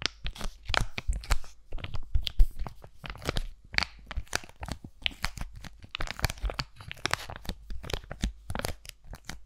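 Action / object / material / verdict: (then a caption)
scrape / laminated foil-plastic sachet / foil plastic / none. Fingernails scratch and crinkle the surface of a single flat, hand-sized aloe sheet-mask packet made of laminated foil and plastic, held close to the mic. Rapid, dense crinkling and scratchy tearing-like bursts continue without pause, with bright crackle on top of a heavy low rumble from the close mic.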